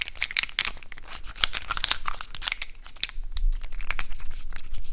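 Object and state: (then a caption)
Natural cork stoppers rubbed together. A handful of small, solid natural cork wine stoppers is held in both hands and squeezed and rubbed against each other with the fingers. The result is a dense run of dry, creaky friction crackles and crinkles, with high squeaky chirps over a low rumble and no ring after each sound.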